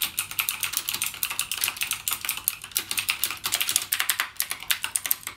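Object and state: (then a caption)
Plastic mechanical keyboard. Fingertips type continuously on a backlit mechanical gaming keyboard with plastic keycaps and clicky Cherry MX Blue switches. About 39 quick, bright, crisp clicks come in a fast, uneven stream, each snapping off almost at once with almost no low-end body.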